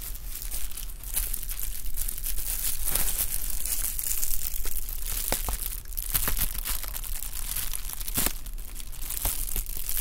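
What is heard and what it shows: A sheet of clear plastic bubble wrap, held in both hands, is crinkled and squeezed with fingertips. The result is a continuous dense crackling and rustling with sharp bright snaps scattered throughout, over a steady low hum.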